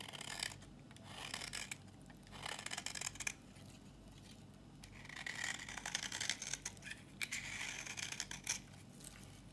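A solid, dry red bar of soap is scraped with a flat metal blade, shaving off dry crumbly curls. Bursts of bright, crisp scraping and crackling alternate with quieter pauses, over a faint steady low hum.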